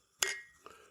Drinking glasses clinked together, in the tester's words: It sounds plastic. It does. It's not plastic. Where's the crystal?